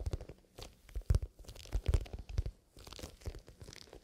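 Fingertips scratch and rub the side of a soft, hollow black pebbled leather pencil case with a zipper. The result is quiet, irregular scratchy and crunchy bursts with low, dull thumps. Brief crinkly bright textures sit above the rubbing.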